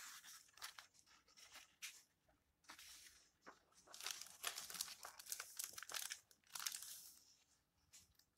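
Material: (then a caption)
Paper. A hand lifts single yellowed paper pages of an open old book, waves them over and flattens them with the fingertips. The result is quiet, bright, crisp rustling and crinkling in a string of short bursts with no low end.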